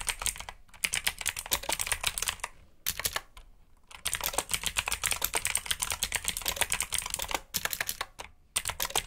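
Fingertips type rapidly on a black backlit mechanical keyboard with plastic keycaps, producing bright, crisp clicky keystrokes in quick bursts separated by brief pauses. Each keystroke is short and dry, with little low-end thump.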